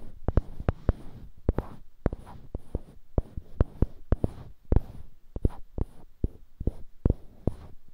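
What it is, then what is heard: Small wooden block scratched and tapped with fingernails. Fingertips and short nails scratch and rub two identical small solid light-wood cubes mounted on polished dark-wood handles, close to a binaural mic. Roughly two dozen short, dry clicks and taps land at an uneven pace over a soft, low rustle of rubbing. Each one stops almost instantly with no ring.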